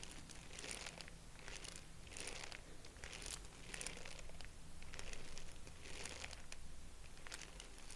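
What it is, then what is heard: Tissue paper honeycomb crinkling. A small purple tissue-paper honeycomb decoration with hollow expandable cells is held in both hands and repeatedly stretched and squeezed with the fingers. It gives off soft, irregular bursts of bright crinkling and light crackling over a faint, steady low hum.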